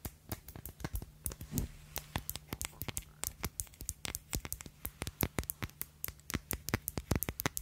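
Long acrylic nails tap and scratch the glass faces of a small black glass Si perfume bottle with a glossy black cap, held close to the microphone. Rapid, bright, dry clicks follow one another over a steady low hum, with a brief scratching sweep early on.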